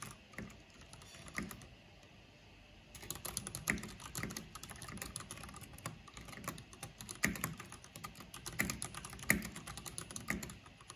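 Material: Plastic.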